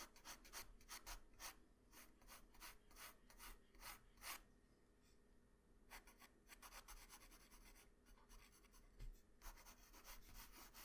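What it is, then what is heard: Pencil on drawing paper. A pencil held in the hand rubs and scratches lines near the neck and shoulder of a sketch on a flat white drawing paper sheet. Quick, bright, scratchy strokes come in bursts, pause briefly in the middle, then resume over a faint low hum.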